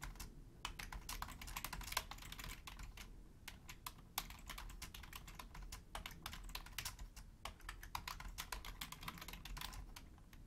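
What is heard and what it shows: Long painted nails and fingertips type densely and continuously on a black Logitech plastic keyboard. A steady stream of sharp, bright plastic clicks and taps, each dying away almost instantly, rides over a low, soft rumble.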